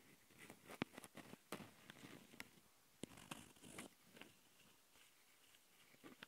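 Long nails on both hands scratch and tap the capsule housings of a handheld plastic Tascam audio recorder. Soft, dry scratching rustles are broken by sharp, quick clicks with almost no ring. The sound stays quiet and close, with a bright, crisp edge.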